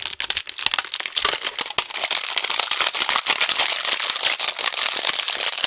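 A long, thin, empty brown plastic insert tray from a Thin Mints cookie box, hollow with ridged compartments, is held in both hands just above a foam microphone and tapped and pressed with fingertips and nails. It gives off a dense stream of bright, crisp crinkles and sharp clicks that die away instantly, with almost no low end.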